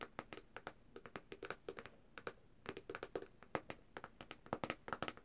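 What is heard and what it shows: Long dark nails of both hands tap quickly and irregularly on the glossy glass touchscreen of a black Samsung tablet lying flat, screen side up. Each tap is a short, dry, bright click with almost no ring, and the taps come in uneven bursts with brief pauses between them.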